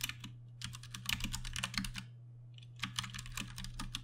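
A compact 60% RGB-backlit Ducky One 2 Mini mechanical keyboard with Cherry MX Brown switches and plastic keycaps, resting on a lit desk mat, is typed on with the fingertips of both hands. Bursts of quick, bright, clacky keystrokes come in two runs separated by a short pause, with a steady low hum underneath.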